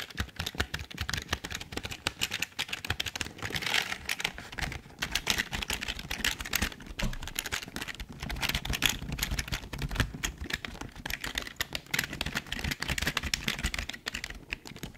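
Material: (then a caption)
Plastic. Both hands type quickly with their fingertips on a full-size, hollow black plastic Logitech keyboard. The result is a steady, dense stream of rapid, bright plastic clicks and clatter with very short, dry decay that runs throughout.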